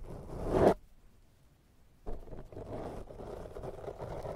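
The bristles of a pink silicone pastry brush are brushed across a black foam microphone windscreen. A soft, scratchy rustle swells to a loud stroke and cuts off into near silence. Then a steady, crackly brushing starts abruptly and continues to the end.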